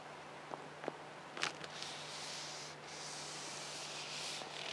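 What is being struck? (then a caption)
Leather-wrapped car steering wheel rim. Fingertips and long nails tap and scratch the leather-wrapped steering wheel rim of a Geely Atlas Pro while hands grip it. Four light, short taps come first, followed by a steady, soft, hissy scratching with bright high-frequency texture.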